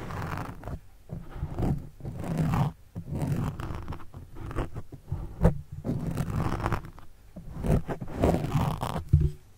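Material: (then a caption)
Foam. A pen tip scratches the sides of a black foam windscreen on a microphone. The close scratching comes as a rough, low, rumbling rustle in uneven bursts with brief pauses, plus a few sharper scrapes.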